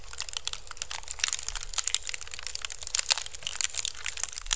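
Fingertips and nails scratch and rub the woven strips of a hollow, empty pink woven bamboo basket held over the microphone. The sound is a fast, dense stream of dry, crackling scrapes and crinkly rasps, bright and hissy, with short sharp peaks and almost no ring. A faint low rumble sits underneath throughout.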